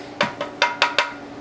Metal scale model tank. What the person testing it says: if you knock on it you could hear it's Hollow on the inside